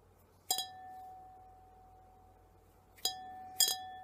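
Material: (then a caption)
Glass. Fingertips tap a clear, empty glass tumbler or wine glass, giving bright, high clinks in three quick bursts. After each tap, a clear mid-pitched ring hangs on and slowly fades.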